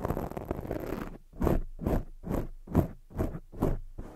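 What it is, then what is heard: Foam microphone windscreen being scratched. Long fake nails scratch the sides of a black foam microphone windscreen, starting with about a second of continuous rough, crackly rubbing. This is followed by seven separate swishing strokes at a steady rhythm. The sound is muffled and bass-heavy, with only faint bright hiss on top.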